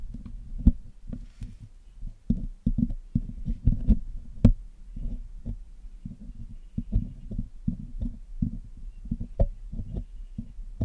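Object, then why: Metal mesh microphone grille. A thin metal needle pick scratches along the wires of a Blue Yeti microphone's hollow black metal mesh grille, steadied by a thumb, while tweezers are held idle in the other hand. The close contact comes through as a rapid, irregular series of dull, low thumps and scratchy taps with short, dead decays. A few sharper clicks stand out.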